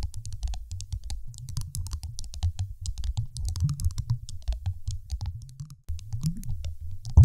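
A large, solid, dark teal glass marble sitting on a microphone is tapped rapidly with the long acrylic nails of both hands. The result is a steady stream of dull, low thumps with faint bright clicks on top, a brief silence just before the six-second mark, and a louder knock at the very end.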